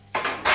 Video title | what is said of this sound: Iron Age Bread | If it sounds hollow, it's ready to go. Sounds hollow to me.